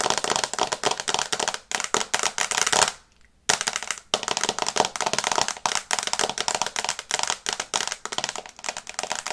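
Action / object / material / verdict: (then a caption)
tap / smartphone glass screen tapped with fingernails / glass / none. Long nails tap rapidly on the glass screen of a small, flat smartphone in a teal and brown case, held in both hands. Dense, bright, dry clicks with almost no ring come in quick bursts, with one brief pause near the middle.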